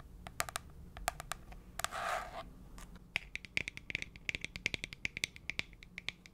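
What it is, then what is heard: Plastic box tapped with nails. Long pointed press-on nails tap and scratch the flat sides of a small, rectangular, translucent frosted plastic box with a label, held in one hand. Sparse, sharp clicks give way to a soft, bright scraping swish. Then comes a quick run of crisp taps with a short, hollow plastic ring near 2.2 kHz.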